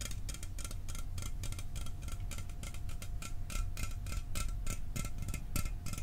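A sealed, hollow 12 oz Mountain Dew aluminum soda can is held in one hand and tapped rapidly with fingernails. The result is a fast, steady stream of short, dry metallic ticks with bright clicky edges over a low background rumble, plus a faint constant mid tone throughout.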